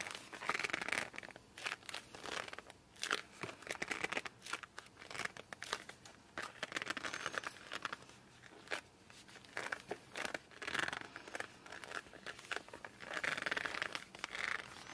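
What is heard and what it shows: A laminated cardboard board book is turned over in the hands while fingers grip and squeeze its laminated cover and edges. This produces bursts of squeaky, rubbing squeals around 2 kHz mixed with dense crinkly, crackling friction and soft handling taps. It is a close, dry sound with almost no low end and no voice.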